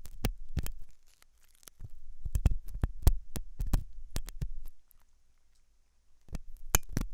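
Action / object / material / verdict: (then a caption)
scrape / silicone dummy ear of a microphone / silicone / none. A thin hooked metal dental tool scrapes inside the ear canal of a white silicone dummy ear on a binaural microphone; the ear is soft and solid-looking. Close, dull low thumps and scratches come in irregular bursts, with sharp clicks that reach high, separated by quiet pauses.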